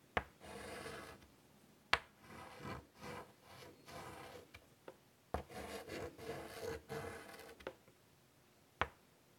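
Fingers draw small details with white chalk on a large, flat chalkboard set in a wooden frame. Soft scratching and rubbing strokes come in short bursts, broken by a few sharp, bright taps of chalk against the board.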